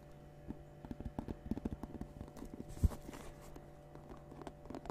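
A round, hollow, medium-size woven basket of natural rope or straw with a knobbed lid, apparently empty, is tapped and scratched on its woven surface with long painted nails. Soft, dull, low taps and brushing scratches come in quick clusters over a steady low hum, with one louder knock just before the three-second mark.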